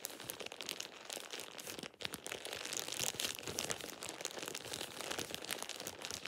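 A thin light-green plastic shower cap is crumpled and rubbed between fingers with painted nails. The result is dense, continuous, bright crinkling with rapid crackles and a brief quieter pause near the two-second mark.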